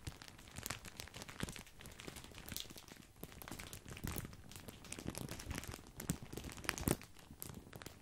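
Fingertips crinkle a large, full, white printed plastic bag of grissini breadsticks. The result is a quiet, continuous stream of dense crinkling and crackling, with bright, sharp crackles and a few louder crunchy bursts over a soft low rustle.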